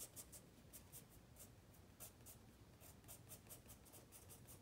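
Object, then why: Wooden pencil on a paper sketchbook page. A wooden pencil makes small scratching strokes on the page of a white spiral paper sketchpad lying flat. Quick, bright bursts of scratchy hiss repeat through the clip over a quiet, steady low rumble, with each stroke ending almost at once.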